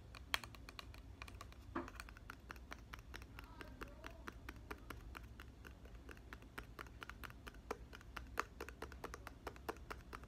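Fingertips and nails tap and scratch the clear plastic cap of a plastic body mist bottle filled with red liquid. Quick, sharp clicks come in a rapid, steady series, with light scratching between them, over a low, steady hum.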